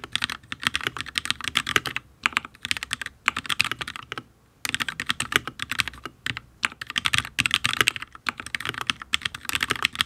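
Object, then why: Mechanical keyboard, ABS keycaps, steel plate. Both hands' fingertips type steadily on a full-size HyperX Alloy Origins RGB mechanical keyboard with Fire switches and ABS keycaps on a solid steel plate. Quick, bright, clicky taps have almost no low end and die out instantly, with short pauses near 2 and 4 seconds.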